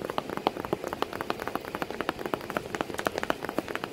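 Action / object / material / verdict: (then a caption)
tap / cardboard box / cardboard / none. Continuous, rapid fingertip-style tapping on a cardboard box with a cat sitting inside it. The short, dry taps fall in quick irregular succession with a hollow midrange tone and almost no ring. The result sounds like a light patter of rain.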